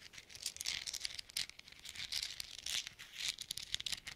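Small hollow silver metal thimbles worn on black-gloved fingertips are pattered and tapped against each other. The result is bursts of quick, bright, dry metallic clicks and ticks, almost entirely high in pitch with no low end and a very short ring.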